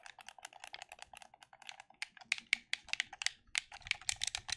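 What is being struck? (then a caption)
Plastic game controller. Thumbs rapidly click the buttons of a black plastic gamepad held in both hands, producing a quick, uneven series of sharp, bright plastic clicks. Each click is short and dry with almost no low end, and the clicks grow louder toward the end.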